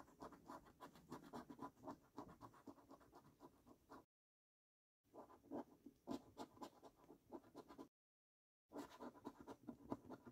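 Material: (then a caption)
Paper. A coin scratches the latex coating off a thin paper scratch card resting on a wooden table. It makes quick, dry, rasping strokes at about four per second, with an uneven rhythm and a midrange tone. Two brief silent pauses break up the scratching.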